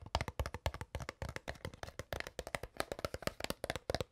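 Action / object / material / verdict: tap / crumpled plastic water bottle / plastic / none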